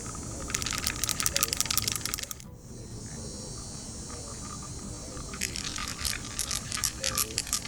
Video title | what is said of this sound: Seal Spray Training Video | all that click tells you is that the powder is actually mixed up and we're actually built the pressure up